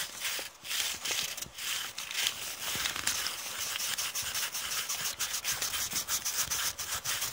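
Long painted nails rub and scratch a crumpled, thin brown kraft paper bag with a serrated edge, held in the hand. The result is a steady, bright, papery crinkling and scraping, with quick rhythmic rubbing strokes that grow more regular toward the end.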